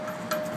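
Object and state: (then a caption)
Tight exhaust heat shield. A tuner tool lightly taps the metal exhaust heat shield of a 2005 Hyundai Santa Fe during a search for a tinny noise heard on acceleration. The single tap at about 0.3 s gives a slightly tinny metallic ring centered near 613 Hz, with bright overtones that decay over roughly a third of a second. Although it sounds a little tinny, this shield is tight.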